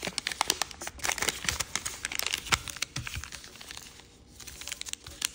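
A red and yellow chiyogami origami paper sheet, folded into layers, is creased and rubbed with fingertips and nails. It makes dense, bright crinkling with sharp little snaps and rustles. A brief quieter stretch comes near the four-second mark before the crinkling picks up again.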